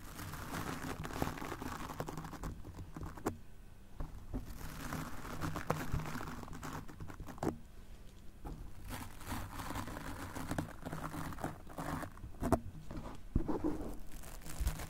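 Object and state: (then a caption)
Foam microphone windscreen brushed. The stiff bristles of a golf club cleaner brush scrub across a soft, porous black foam windscreen covering a handheld microphone while the other hand holds the mic. Continuous close, scratchy, crinkling brushing strokes rise and fall with a heavy low rumble, broken by occasional sharper scrapes.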